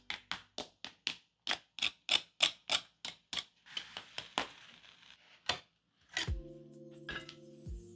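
Tapping on the crunchy breaded coating of oven-baked chicken drumsticks makes a quick run of about twenty sharp, crisp ticks. A few scrapes and one last tick follow. Then come several short, low hollow thunks with a sustained hum, and the coating sounds fully crispy.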